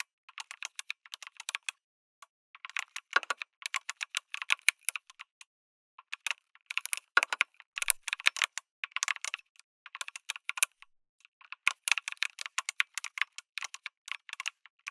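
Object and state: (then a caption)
Mechanical keyboard with plastic keycaps. A backlit mechanical keyboard with a white case and red and grey plastic keycaps is typed on with fingertips. Bursts of short, bright, crisp key clicks come with brief pauses between them, and each click is sharp and dry with almost no low end or ring.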